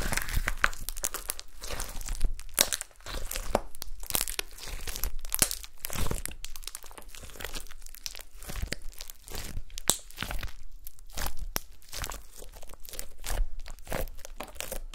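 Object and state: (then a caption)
Glitter slime. Long nails poke and pinch gold glitter slime spread out on a table, producing a dense run of wet, sticky crackles, squelches and small popping snaps. The pops are sharp and brief over a steady low background, with bright crinkling and tearing textures throughout.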